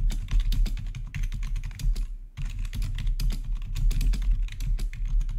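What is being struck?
Plastic keyboard keys.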